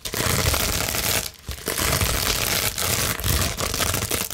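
A large clear plastic bubble wrap sheet, held flat, is scratched quickly with long nails. It makes a dense, continuous crinkly scratching with a bright hiss and soft low thumps, pausing briefly just before the midpoint before resuming steadily.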